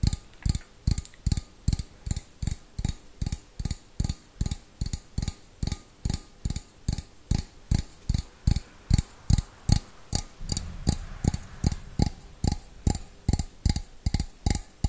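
An empty, hollow stainless steel bowl is tapped rhythmically with fingernails, giving a steady run of about forty short, dull taps with a low, hollow body and a faint bright click on each. The taps stay clipped with almost no ring, and a soft background hiss rises under them from about ten seconds on.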